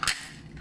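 A papad (lentil or rice flour wafer) microwaved without oil is broken, giving one sharp, bright crack with a fast-fading crackle. The crispness is clear: it is fully cooked, with no uncooked spots, and as crisp as an oil-fried papad.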